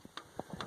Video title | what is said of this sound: 5.9 cummins cam removal | tap it up and down off that Cam and you can hear it